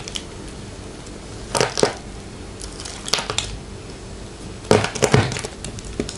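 A palm-sized solid bar of white retro soap, held in a hand with long painted nails, is cut into cubes with a small metal blade. Crisp, dry crunches come in short clusters over quiet background hiss, each cut giving a bright crackle with a brief, low thump beneath it.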